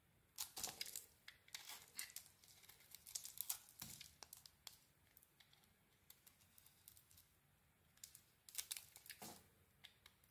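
A metal blade shaves the coating off a solid metallic-blue bar of soap with a cream core. Quiet, bright, crisp scraping and crinkling strokes come in bursts, with a quieter stretch in the middle before a final cluster of shavings.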